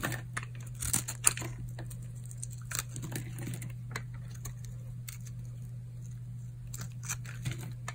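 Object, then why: Bar of soap. A metal blade shaves and scrapes flakes off a solid, dry, pale pink bar of soap held in the palm. Sharp, bright crunching and crackling scrapes come in scattered bursts over a steady low hum, with a few louder crisp snaps near the start.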